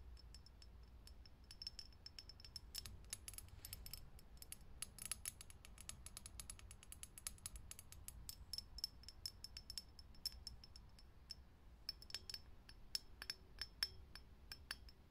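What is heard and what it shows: A vintage glass light bulb is tapped quickly, giving a fast stream of tiny, bright clicks with a high glassy ring over a low, steady hum. The taps run in dense bursts with short pauses, each dying away almost instantly.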